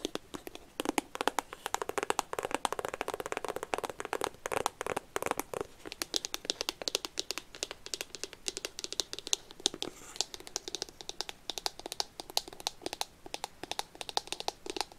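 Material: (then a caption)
Cardboard. A small, hollow, rectangular iPhone retail box made of white cardboard with a pink phone print is held in both hands close to the mic and tapped and scratched with long pink-painted fingernails; it may still be in its plastic wrap. A fast, continuous stream of sharp, dry clicks mixes with scratchy crinkling. The sound is bright, with almost no low end and no ring after each tap.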